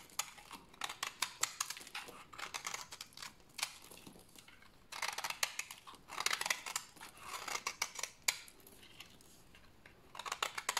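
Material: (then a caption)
Soap. A rectangular bar of dry white soap is held in the hands and scraped with a utility blade into fine shavings. Quick, dry, bright scraping strokes come in close bursts with short pauses between them, each stroke stopping almost at once.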